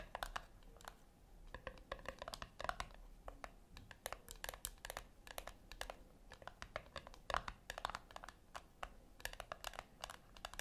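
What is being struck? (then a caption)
Small round speaker with metal casing. Long nails tap rapidly and irregularly on the top of a small, round, puck-shaped metal speaker with a brushed metal side, which sits on a white cloth. The taps are quiet, dry and clicky, with a bright tone around 1 kHz that dies away instantly without ringing.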